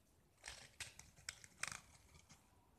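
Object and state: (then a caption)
Painted gypsum brick being carved. A small solid gypsum tile painted with black and white stripes is held in the fingers and scraped with a metal utility knife blade, shaving off chalky curls. Several short, dry, bright scrapes come in quick bursts with almost no ring, quiet overall and thin in the low end.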